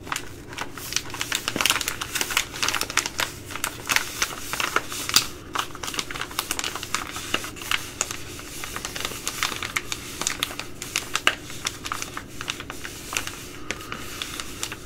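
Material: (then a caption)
Plastic. Long glittery nails scratch, tap and crinkle a small, flexible, sealed Uncle Ben's Ready Rice plastic pouch that appears full of rice, resting on a wooden table. A steady stream of bright, high crinkles and sharp clicky taps runs throughout, with almost no low end. Each sound dies away almost instantly.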